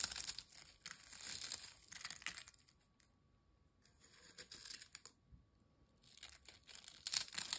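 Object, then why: Ridged potato chip pieces. Thin, dry, crisp ridged potato chip pieces are crumbled into small bits by fingertips over a glass bowl. Bursts of bright, crackling crunches come in irregular clusters, separated by near-silent pauses, with a sharp loud crackle near the end.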